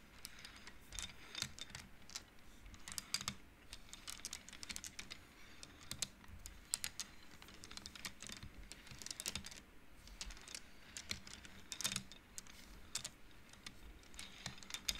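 Fingertips and nails flick and slide the painted wooden beads along an upright wooden-frame abacus, making rapid, irregular clacks. The dry, bright clicks die away almost instantly over a quiet background, sounding much like fast typing on a keyboard.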